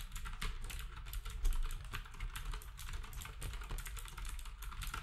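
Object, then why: Plastic keyboard with round keycaps. Fingertips of both hands type rapidly on a black wireless typewriter-style retro keyboard with round plastic keycaps and a hollow housing. The steady stream of key taps gives a dull low thump beneath bright plastic clicks, each dying away almost at once.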